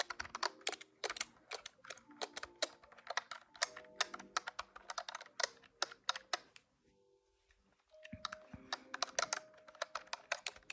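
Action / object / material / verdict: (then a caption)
tap / plastic desktop calculator keys / plastic / none. Fingertips type rapidly on the plastic keys of a large grey-white plastic desktop calculator, producing fast bursts of sharp, bright, dry clicks with almost no ring. The tapping runs steadily, pauses for about a second near the seven-second mark, then resumes, with faint steady tones in the background.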